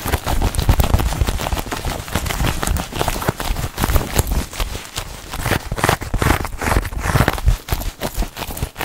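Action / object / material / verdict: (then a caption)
tap / quilted faux-leather handbag / faux leather / none. A small black quilted faux-leather handbag with a chain strap is held up close and tapped and scratched with long acrylic nails across its padded surface. Dense, rapid tapping and scratching goes on throughout, with soft, muffled thuds heavy in the low end and a light crackly scrape on top.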